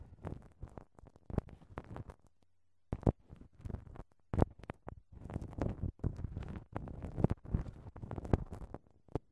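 A thin wooden ear pick scratches inside a right-side silicone microphone ear wrapped in clear, crinkled plastic cling film. The result is a rapid run of short, dry crinkling scrapes with a low, muffled weight, broken by a brief quiet pause just after two seconds before the rustling resumes more densely.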